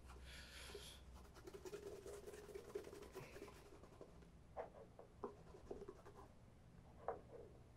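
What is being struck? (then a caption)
Leather dress shoe. A single black and grey leather cap-toe oxford, a Meermin Adelaide, is held hollow in one hand and rubbed with a cloth wrapped around the fingertips to work conditioning cream into the upper. Quiet, steady scratchy rubbing with a brief bright hiss at the start is broken by a few sharp, short squeaky strokes near the end.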